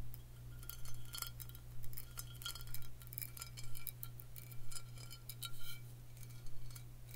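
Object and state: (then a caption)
Glass bottle. A glass bottle is tapped for ASMR, producing bright, short clinks with a glassy ring that come in loose clusters throughout. A steady low hum runs underneath the whole time.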